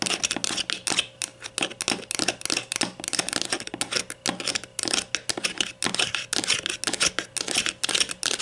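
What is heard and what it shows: A grey plastic deodorant stick, held on its side on a table, is tapped and scratched with long nails on its back and cap end. Quick, bright, dry clicks and scratchy strokes run in an irregular stream, each hit dying away almost instantly.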